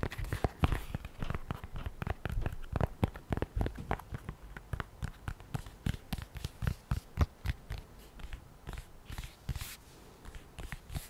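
Long nails and fingertips tap quickly on the panels of a lavender polyurethane/microfiber iPad folio cover, with the tablet inside and held in both hands. The result is a dense run of short, dull, low-pitched taps that stop almost instantly and vary in loudness.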